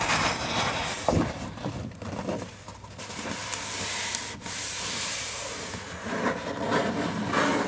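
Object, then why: Paper picture book pages. A paper page of a large open hardcover children's picture book is turned by hand, and then fingertips trace and rub over the illustration. The turn gives a crisp papery rustle with a few sharp flicks. The rubbing is a steady, bright, scratchy hiss of skin sliding across the paper.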